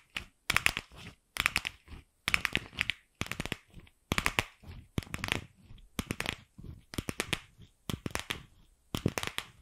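Long acrylic nails tap and scratch the shell of a single empty, fist-sized pink hollow plastic ball. The result is about eleven short bursts of rapid, dry clicks and scratchy crinkles, bright and centered around 2.6 kHz. Brief silences separate the bursts, and each tap dies away almost instantly.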